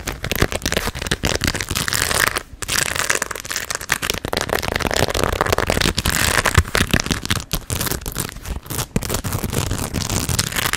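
A hollow fabric baseball cap covered in small pearl and rhinestone beads is held up near the mic and scratched and tapped with long red acrylic nails. This makes a dense, steady stream of bright, crackly clicks and rattling scratches, with short lulls near 2.5 and 7.5 seconds.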